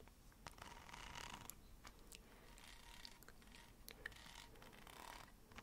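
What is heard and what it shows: A hollow yellow ridged, corrugated plastic pop tube toy, about 20 cm long, has its ridges scratched and rubbed with long nails while held just above a fluffy microphone. The result is a quiet, continuous dry rasping with bright, ratchet-like clicks and scratchy bursts over a soft low rumble.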